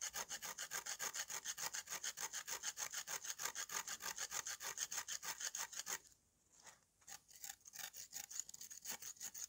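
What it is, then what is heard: Dry clay slab scraped with a knife. A green-handled steel knife scrapes back and forth over a flat, solid slab of dried red clay held in the hand. It makes rapid, steady, bright rasping strokes, several per second. The scraping stops briefly for about a second around the six-second mark, then resumes in a looser rhythm.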